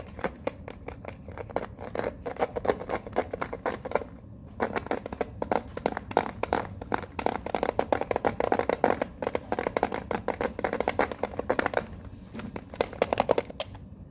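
A small, hollow, printed metal Pokemon card tin is held close to the microphone while fingernails tap and scratch across its front and edges. The result is a fast, dense stream of dry, clicky taps and scrapes with almost no ring, pausing briefly around the four-second and twelve-second marks.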